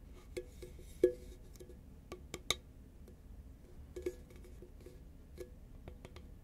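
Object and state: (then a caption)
Paperboard chip can tapped with fingernails. A medium-size, hollow green Pringles composite paperboard chip can is held upright and tapped with long nails. Sparse, irregular light taps give a short hollow knock around 363 Hz with bright clicky edges, and each dies away almost instantly against a faint low background hum.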